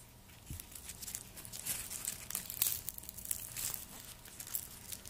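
Gloved fingertips peel and tear the dry papery skin from a whole, solid, hand-sized white garlic bulb, and the peeled flakes pile up on a wooden board below. Bright, crisp crinkling and tearing crackles come in quick, irregular bursts with a faint low thump near the start.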